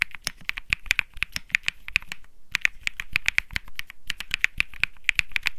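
Fingertips type steadily on the plastic keycaps of a white Think 6.5 mechanical keyboard with Bsun Lollipop switches. Crisp, bright, very short clacks come in a dense run, peaking around 2.4 kHz with a light low thump under each press. There is a brief pause near the middle before the typing resumes.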